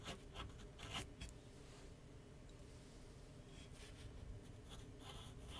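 A graphite pencil sketches lines across a large white paper sheet mounted on a flat board on an easel. Quiet, dry scratching strokes come in short bursts at first, ease into a soft steady rubbing, then pick up again with brighter scratches over a low background rumble.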